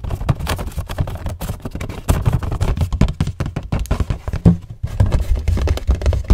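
Fingertips and nails tap quickly across the surfaces of a hollow cardboard tissue box with a floral print and a plastic-film opening, held near the mic. The result is a rapid stream of dull, hollow, low thumps that stop almost instantly, with a brief quieter gap just before the tapping resumes.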